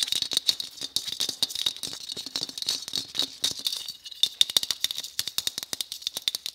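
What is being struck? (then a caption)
Christmas bauble. Fingers tap quickly and repeatedly on a white Christmas bauble, producing dense, short, bright clicks with a faint high ring and almost no low end. The taps come in fast irregular runs, with a brief pause before a sharper, more separated stretch near the end.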